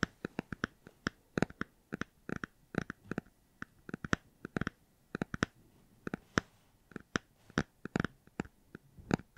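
A hardcover book is tapped and scratched in a long run of quick, sharp, dry clicks and taps with almost no ring. The taps come in irregular bursts and clusters with brief quiet gaps, and they are fairly soft overall.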